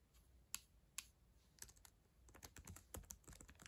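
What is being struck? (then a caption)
Plastic laptop keyboard keys. Long acrylic nails tap on the plastic keys of a black ThinkPad laptop keyboard. A few sharp, bright clicks come sparsely at first, then build into a quicker flurry of typing. Each click is quiet and dies away almost instantly.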